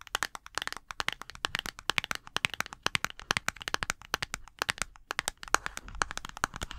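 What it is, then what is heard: Small cardboard box tapped with nails. Long acrylic nails rapidly tap and click on a small, hollow printed cardboard box held in both hands. The result is a dense stream of sharp, dry, bright clicks with almost no ring, over faint light rustling, with a brief pause just after the midpoint.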